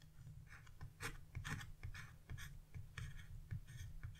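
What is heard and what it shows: A metal chisel held in a hand with blue nails scrapes leaf shapes into a flat, black-coated scratch-art page, leaving scraped-off flakes behind. Quiet, repeated short scratchy strokes produce bright, raspy bursts over a steady low rumble, each stroke fading almost immediately.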